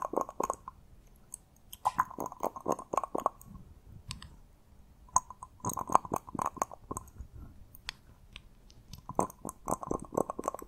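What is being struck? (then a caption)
Small glass dropper bottle with liquid. A small amber glass bottle, partly filled with liquid, has its black rubber-bulb glass dropper pulled out and clicked back into the neck. The result is quick, dry clicks and taps with a steady tone around 1 kHz and bright high edges, coming in three dense bursts separated by quiet gaps.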